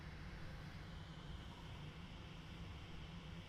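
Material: Nothing is struck.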